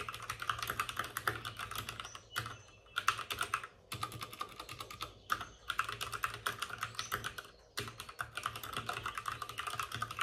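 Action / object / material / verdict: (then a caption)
tap / plastic mechanical computer keyboard / plastic / none. Both hands rapidly tap with their fingertips on the plastic keycaps of a white, backlit RGB mechanical computer keyboard resting on a desk with a padded wrist rest. The dense, crisp clacks have short, dry decays and a bright click centered around 1.3 kHz. Brief pauses break the bursts of typing near 2.3, 3.9, 5.3 and 7.7 seconds.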